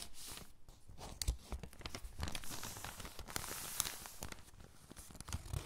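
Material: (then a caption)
Glossy paper. Fingertips with long pink nails press, rub and squeeze the crinkled pages of a thin glossy paper catalog lying open flat on a dark table, then turn the pages. The result is a steady stream of crinkling and crackling paper, with sharp tearing-like snaps and bright, hissy rustles.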